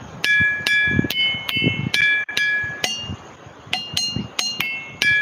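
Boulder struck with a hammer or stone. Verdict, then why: Ringing. Ringing rocks (boulders) in Australia are struck in a quick, uneven series, each hit giving a metallic, bell-like ring with clear high tones. The pitch shifts from strike to strike as different rocks are hit, over a low rumbling background.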